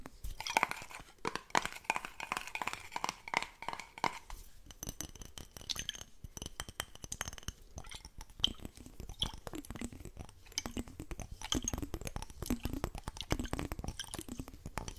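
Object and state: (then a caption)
Glass jar. A small, clear, hollow glass jar that looks empty is held in both hands and rapidly tapped and scratched with fingertips and nails. Dense, fast clinks with a short glassy ring come first, then shift to rasping nail scratches with repeated swooping, squeaky strokes over quick taps.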